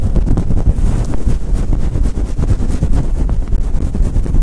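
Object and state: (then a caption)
Faux fur microphone windscreen being rubbed. A synthetic faux fur microphone windscreen is rubbed and scratched with fingers and long light-blue nails. The result is a loud, continuous, muffled rumble of boomy low thuds and scuffs, with nearly all the sound in the deep bass and almost nothing bright.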